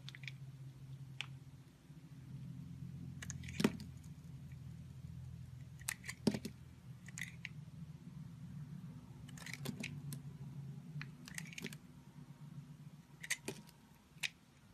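A box-cutter blade shaves smooth slices off a solid, hand-sized purple Nivea lavender soap bar held in the hand. Short, crisp scraping clicks with a bright edge come at irregular intervals over a steady low hum, with the sharpest cuts standing out near the start, middle and end.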